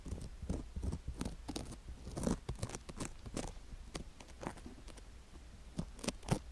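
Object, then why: Silicone ear microphone coated with sugar crystals, scraped with a wooden stick. A wooden stick scratches along the rim and inner ear of a white silicone ear microphone coated with sugar crystals. It makes a steady run of close, gritty crunches and crackles with short, sharp bursts that reach up bright over a soft low rumble.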